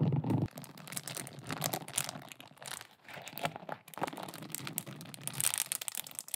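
A large, thin, flat light-blue silicone scrubber pad covered in short soft bristles is held up close and scratched and raked with long acrylic nails. A loud low thump at the start gives way to a dense, irregular run of crisp scratching and crinkly raking, with bright rasping strokes rising and falling throughout.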